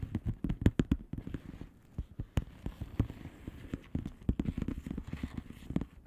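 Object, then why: Plastic bubble wrap envelope. Long polished nails tap quickly across the bubbles of a flat blue plastic bubble wrap envelope. Many short, dull, low-pitched taps come in irregular bursts, each one dying away almost instantly.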